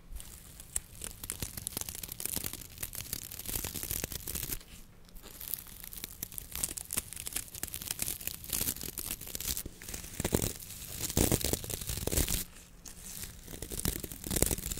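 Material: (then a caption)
Coconut fiber. Gloved fingertips scratch and rub the stiff brown coir bristles of a round coconut fiber wok brush with a light wooden handle, about hand length. The result is a dense, irregular stream of dry, bright crackling and tearing-like scratches over a low steady hum. There are brief quieter dips near 5 and 12.5 seconds.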